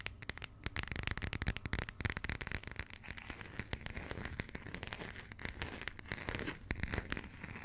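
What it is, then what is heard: Passport cover tapped and scratched with nails. Long nails tap and scratch across the textured, coated cardboard cover of a burgundy passport. The result is a dense run of quick, dry clicks and crackly scratching with short, bright transients over a soft low rumble, and nothing rings on after each tap.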